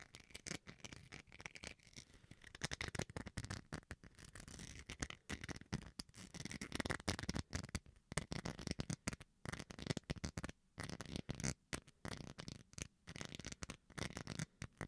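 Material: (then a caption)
Plastic. Fingernails and fingertips scratch the bowl of a small, solid white plastic rice paddle spoon held close to the microphone. The result is a dense run of quick, dry scraping strokes with a low body and a bright, hissy top, each stroke dying away almost instantly, broken by short pauses.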